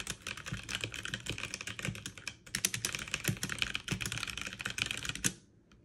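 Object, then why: Mechanical keyboard with plastic keycaps. Fast two-handed typing on a backlit mechanical keyboard with plastic keycaps, struck with fingertips and long nails, produces a dense stream of bright, clicky keystrokes. There is a brief pause just before the midpoint, then the rapid clatter resumes and stops abruptly near the end, leaving near silence.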